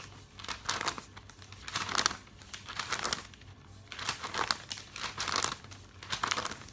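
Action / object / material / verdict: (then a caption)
shake / glossy paper catalog / coated paper / none. A hand turns and flaps the pages of a thick glossy paper catalog, producing bright, crisp crinkling in irregular bursts. Each page movement swells into a rustling flurry before fading.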